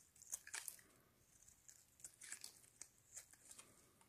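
A metal blade held in gloved hands scrapes and cuts long shavings off the face and edges of a pale green solid bar of soap. The sound is quiet, crisp, bright scraping and crunching in short irregular strokes, with almost no low end and no ring after each stroke.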